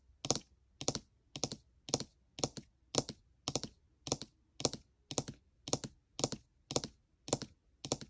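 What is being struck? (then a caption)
Laptop keyboard, plastic keycaps. Long nails rapidly tap the plastic keycaps on the right side of a gold MacBook Air keyboard. About fifteen evenly spaced bursts sound, each made of two or three quick, crisp clicks with a bright, high edge and almost no ring. Each burst is separated by near silence.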